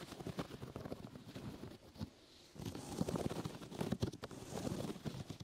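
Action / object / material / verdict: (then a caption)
scrape / foam rubber grip mat / foam rubber / none. Fingers and nails scratch and rub a brown, open-weave sticky foam rubber grip mat draped over a microphone, working from the sides. The result is a dense, crackly, low-heavy rustling with sharp scratchy clicks, a brief quiet lull around the two-second mark, and then continued busy rubbing.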